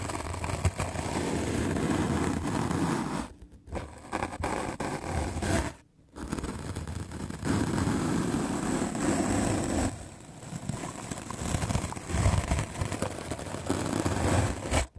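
A white rectangular magic eraser block of solid melamine foam is held in the hand and scrubbed aggressively with a medium black-bristle paint brush. The result is a dense, continuous scratchy brushing sound with strong low-end rasp, broken by brief pauses near 3.5 and 6 seconds and a softer stretch around 10 seconds.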